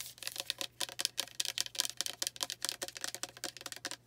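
Long nails tap rapidly on the surface of a pink plastic rosewater spray bottle containing liquid, held close in both hands. A fast, uneven flurry of dry, bright clicks follows, each tap very short with almost no ring, over a faint steady low hum.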